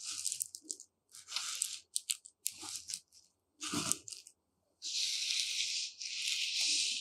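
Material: Rice.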